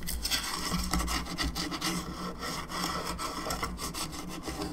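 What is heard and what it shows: Long nails scratch and rub across the face and sides of a hollow plastic skull candelabra lamp. The result is a steady, bright, raspy scraping with a low hum underneath and no clear pauses.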